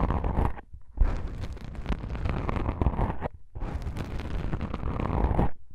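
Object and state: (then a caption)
Foam microphone windscreen being scratched. Long pink nails and fingertips of both hands scratch black soft-foam microphone windscreens, with brief pauses between passes. The result is a dense, crackling, rumbling scratch that is heavy in the low end.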